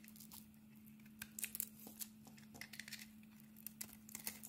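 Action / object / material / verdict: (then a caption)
scrape / bar of soap scraped with a metal blade / soap / none. A metal blade scrapes and carves curls off a solid bar of soap with a blue glitter coating and a cream-colored inside, held in the palm. Quiet, crisp scraping and crackling bursts come in quick, uneven clusters, bright and high-pitched, over a steady low hum.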